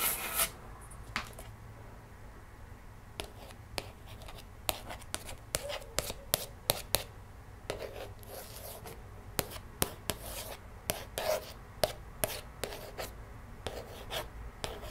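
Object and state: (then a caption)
Plastic DVD case. A long red-painted fingernail traces and taps across the front cover of a closed, hollow plastic DVD case with a paper cover sleeve, lying on a wooden table. Soft, quiet scratching rasps run beneath around twenty sharp, bright clicks. Each click is very short with almost no ring.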